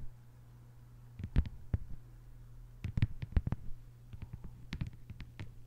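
Long white-polished nails on both hands tap quickly on a thin, solid, flat lime-green plastic cutting board or mat lying on a table. The taps are short, dry clicks that come in irregular clustered bursts with brief pauses between them, over a steady low hum.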